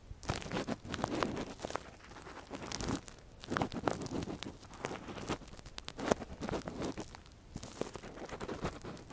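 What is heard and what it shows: A thin metal earpick, held in a gloved hand, scratches inside the ear canal of a silicone ear model. The sound is a close, dense run of crinkly, crunchy scraping and rustling with bright, brittle clicks, rising and falling in short bursts with brief quieter gaps.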